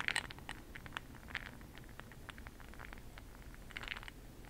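A makeup brush stirs a small clear glass cup full of bronze makeup pearl beads held in the hand. Quiet, bright clicking and rattling taps scatter through the clip over a soft low background hiss, with a denser cluster of clicks at the start and again near the end.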